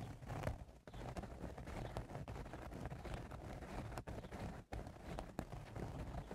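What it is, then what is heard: Woven straw hat being scratched. Fingernails scratch the sides of the crown of a woven straw cowboy hat, making a dense, continuous rustling scrape. The sound is heavy in the low end with little brightness and breaks off briefly in a few short pauses.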